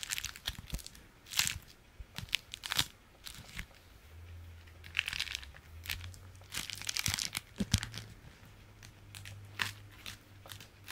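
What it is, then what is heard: Beeswax-coated fabric food wrap. A striped beeswax-coated fabric food wrap is folded and squeezed in both hands, giving bursts of crunchy, bright crinkling and crackling with short, dry pops. A faint low hum sits beneath the second half of the clip.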